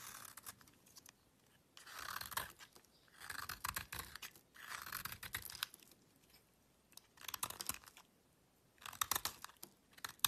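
A solid beige soap bar, carved to a wedge shape and held in the fingers, is shaved with a small metal knife, with soap curls falling onto a black surface. Bursts of bright, dry scraping and crunching repeat across the clip, separated by short quiet gaps.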